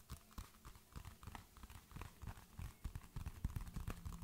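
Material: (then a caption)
Paper. A white paperback book with paper pages, solid and held in one hand, is tapped and scratched on its cover with long fingernails. Quick, irregular taps land about three times a second as soft, dull, low thuds with brief clicky edges. Faint scratchy rustling runs between them and dies away at once.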